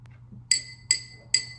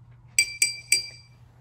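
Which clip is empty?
The second.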